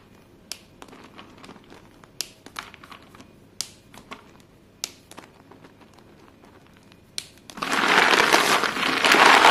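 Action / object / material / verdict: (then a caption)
scrape / pile of short chalk sticks / chalk / none. Hands push and scoop a pile of short, solid white chalk pieces on a blue surface. Scattered sharp, bright clicks and light crunches come first, then a loud, dense stretch of rubbing and crunching builds and continues to the end.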